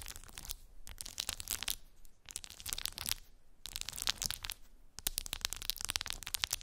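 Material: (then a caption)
Plastic. Long pink nails scratch and tap across a clear plastic phone case decorated with resin gummy bears, lying on fluffy fabric. Bursts of bright, crisp scratching and sharp clicking taps come in several clusters, separated by brief quieter pauses.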